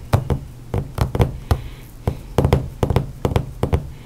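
Books are knocked and tapped in an irregular series of short, dull thuds, several landing in quick pairs. Each hit is deep and low with almost no high end and dies away almost instantly, leaving soft background hiss between hits and no talking.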